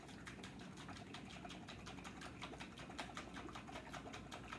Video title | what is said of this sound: Waldorf Salad Video | do you hear it sloshing around in the container